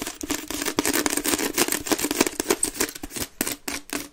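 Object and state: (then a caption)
Wicker basket bin. A grey wicker waste bin, held upside down, hollow and empty, is scratched quickly across its woven base by both hands with long red nails. The result is a fast, uneven stream of dry, crackly scratching bursts, bright and airy on top with a hollow body resonance underneath and little low end.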